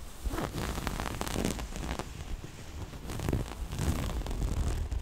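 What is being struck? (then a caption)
Soft cloth pouch with zipper. Long nails scratch across a small, soft, hollow floral-print cloth pouch and run along its black zipper edge. The result is a steady, dense scratching and rustling with a muffled low body and fine zipper-like ticks and crackles throughout.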